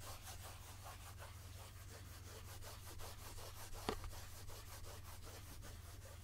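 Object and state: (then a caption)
Plastic oil jug, scratched. Fingertips rub and scratch the surface of a medium translucent plastic jojoba oil jug with a pump, mostly full of oil and held in both hands. A quiet, rhythmic scratching of repeated brushing strokes plays over a steady low hum, with a brief sharp tick near the middle.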